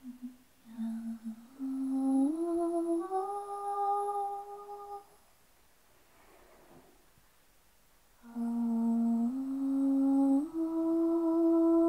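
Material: Nothing is struck.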